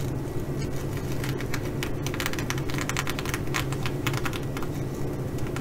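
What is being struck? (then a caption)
Sequin fabric bag. Fingernails of one hand scratch and tap the sequins on a blue reversible flip-sequin fabric bag. Quick, irregular, bright clicks and scratchy rustles flicker over a steady low hum throughout.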